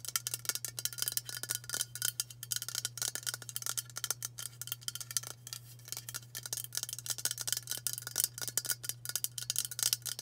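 Long nails tap fast on the body of a hollow aluminium White Dove aerosol deodorant spray can. A dense stream of quick, bright, tinny clicks with very short ring continues steadily throughout, over a constant low hum.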